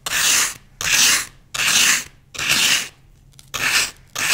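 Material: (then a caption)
Floral foam. A thin wooden skewer rasps across a solid green floral foam block held in one hand, scoring a grid into its surface. Six bright, dry scraping strokes of about half a second each come at a steady pace, separated by short silences.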